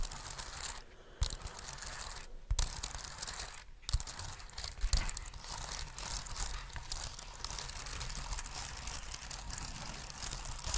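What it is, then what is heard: Plastic wireless keyboard. A small black plastic wireless keyboard is held close to the microphone while its keys are tapped and pressed with the fingertips and its body is rubbed. Continuous soft clicking and crinkly rubbing blend together, with a few sharper, louder clicks standing out over a low, rumbly bed.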